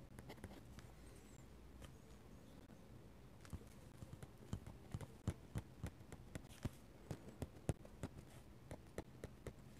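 A metal-nib dip pen works on a paper sketchbook page, stippling ink with quick dry taps and scratching out ink strokes. Faint scratchy strokes over a low hum give way to a run of sharper, clearly separated taps in the second half, each dying away almost instantly.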